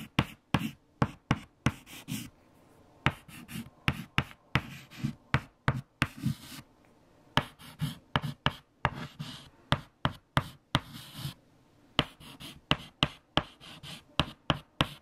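White chalk held in fingertips writes numbers on a large, flat, erased black chalkboard. Repeated sharp taps land as the chalk strikes the board, each followed by a brief dry scratching stroke, with short quiet gaps between the bursts.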